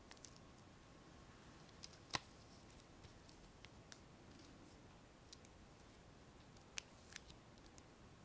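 Long nails tap and scratch the surface of a small, hollow, clear plastic heart-shaped box. About fourteen sharp, bright, dry clicks are scattered over a quiet, soft scratchy hiss, with the loudest tap near two seconds. A faint steady tone sits around 1 kHz underneath.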